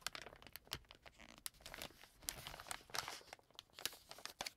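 A green plastic-film wet wipes pack lying flat on a table is rubbed and pressed by fingertips and nails, then picked up and crinkled. The result is a quiet run of bright, crisp crinkling and rustling, broken by sharp, dry crackles that stop instantly.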